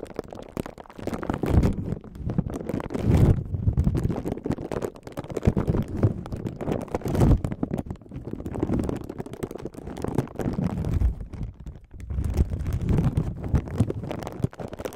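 A thin, clear plastic packaging sleeve, hollow and empty, is held in both hands with the fingertips just above the microphone. It is crinkled, stretched and rubbed between the fingers. The result is a dense, continuous low rustling and crackling that swells and fades in waves, with almost no high content.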